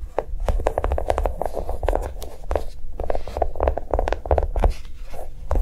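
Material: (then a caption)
Plastic. Long nails tap rapidly on a small notebook with a brown molded chocolate-bar cover over paper pages, lying on a table. The steady run of quick, short clicking taps has a dull, low-heavy body and a brief ring.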